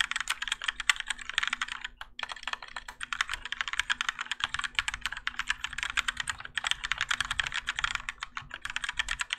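A Keychron K4 compact mechanical keyboard with Gateron Yellow switches and grey and orange ABS plastic keycaps, on a plastic and metal case resting on a desk mat, is typed on continuously with the fingertips of both hands. Dense, quick, bright plastic clacks run steadily with brief pauses near 2 and 4.4 seconds. A faint low steady hum sits underneath.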